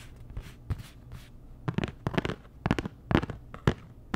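Long nails tap a flat, postcard-sized printed cardboard Dior packaging card, giving about a dozen short, dull taps in an uneven rhythm. Each tap is a soft, low-heavy knock with a faint papery edge that dies away almost at once.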